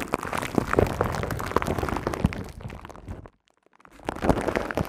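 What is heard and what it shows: Long nails and fingertips scratch and tap the hollow, hand-sized silver woven metal mesh head of a studio microphone, giving a dense, close stream of crackly scrapes and soft popping taps with a thick low rumble. The activity thins out and drops to near silence for about half a second, then resumes with the same rough scratching.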